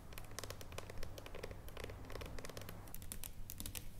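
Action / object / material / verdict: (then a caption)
tap / dark chocolate bar / chocolate / none. A solid dark chocolate bar, held and then laid flat, is tapped with long nails in quick, dry, clicking taps that die away almost instantly. A steady low hum sits underneath the whole time.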